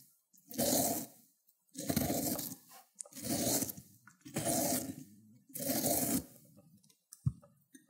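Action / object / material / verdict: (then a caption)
scrape / cucumber on a ceramic grater plate / cucumber / none. A cut cucumber end with pale flesh is rubbed across a ceramic grater plate, leaving wet pulp as it grates. Five separate broad, wet scraping strokes rise and fade with short pauses between them, followed by a brief sharp click near the end.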